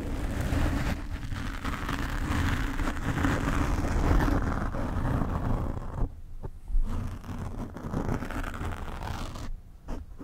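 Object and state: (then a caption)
Foam microphone windscreen being scratched. A black foam microphone windscreen is scratched with long nails, giving a dense, low, rumbling rustle with brighter scratchy texture on top. The sound quiets at moments when the hands move away from the mic, with a few sharper bumps breaking through.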